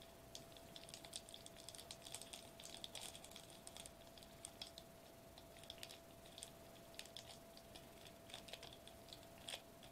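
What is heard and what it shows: Fingertips of both hands quickly tap and press a flat silver metallized plastic bubble wrap sheet lying on a white table. Dense bursts of small, bright, crinkly clicks and taps with very short decay, resembling rapid typing, sit over a faint steady midrange hum.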